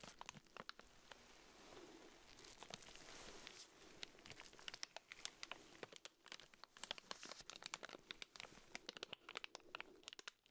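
A small round pink urinal deodorizer cake in clear plastic wrap is held in black-gloved fingers while the wrapper is rubbed and crinkled with the fingertips. Soft, steady bright crinkling is punctuated by many sharp, quick crackles and snaps that stop dead without ringing, with little low-end body throughout.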